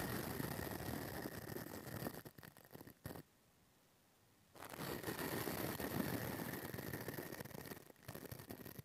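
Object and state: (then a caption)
Metal mesh microphone grille being brushed. A pink plastic brush with stiff white bristles is scratched and brushed over the hollow metal mesh ball grille of a small pink toy-sized mini microphone held upright on a table. It makes dense, rapid, scratchy rustling across a wide range, thinning out briefly before stopping for over a second. The brushing then resumes just as loud and continuous.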